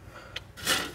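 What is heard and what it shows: Finished air-fried salad topping pieces are handled, giving a short, bright crisp crackle followed by a longer, louder crunchy rustle. The crunch shows that the pieces came out crispy and perfect for a salad.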